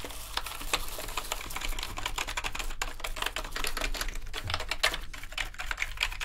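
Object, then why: Plastic computer keyboard. A full-size black plastic gaming keyboard with hollow plastic keycaps lies on a dark mat while gloved hands scrub across the keys with a green toothbrush and a second small brush. Steady scratchy brushing mixes with rapid, dense clattering of the keys, short dry clicks with a bright edge over a low background rumble.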